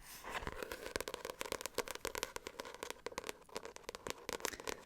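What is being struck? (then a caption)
Textured paperback book cover. Fingers run over the textured cover of a paperback non-fiction book, The Artful Edit. A dry, rapid scratching is heard, with many short crackling strokes close together and a bright upper edge.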